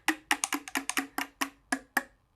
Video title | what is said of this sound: Chai Music - SMS Staff Specialisms | stir it up again it goes back down